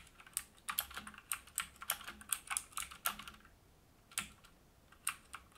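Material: Plastic.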